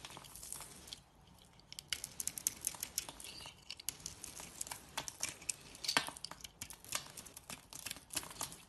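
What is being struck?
Bar of soap.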